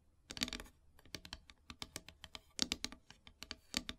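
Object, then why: Painted wooden heart plaque. Long silver nails tap and scratch across a flat, solid black painted wooden heart plaque. The sound is a quick, uneven run of short, dry, bright clicks with almost no ring, broken by brief scratchy bursts between the taps.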